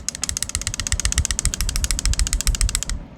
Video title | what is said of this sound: WATCH This Video Before You Grade With TAG! - This is a HUGE problem! #pokemon #pokemoncards | the card is not seated in there fully there's definitely some uh looseness there